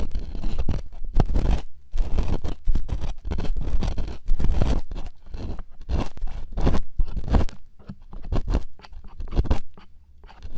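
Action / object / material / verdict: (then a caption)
scrape / silicone ear replicas scraped with plastic picks / silicone / none. Two plastic earpicks held in fingertips scrape and scratch inside the hollow ear canals of two soft white silicone ear replicas on a binaural microphone at the same time. The result is close, muffled scratching and scraping in uneven bursts with a heavy low rumble, broken by short quiet gaps.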